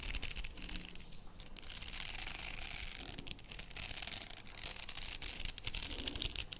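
A faux pearl padded headband with beaded trim is held close in front of a microphone while long nails scratch and tap the plastic beads. The result is a steady, bright scratching rustle with small, quick clicks. Under it sits a low, rumbling background hum.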